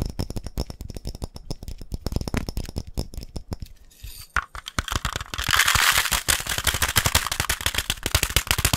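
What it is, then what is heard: Glass coffee jar. A glass coffee jar is tapped rapidly, giving a fast, dense stream of short, dry clicks with almost no ring. The taps slow briefly near the middle, then come back brighter and busier, with a sharper, hissier edge through the second half.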